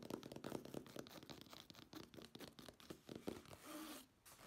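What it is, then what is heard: Fabric-covered case, scratched. Long nails scratch and tap the textured surface of a black woven nylon, fabric-covered case held upright. The result is a rapid run of quiet, dry, crackly scratches and light taps, followed by a longer steady rasp and a brief pause before the scratching resumes.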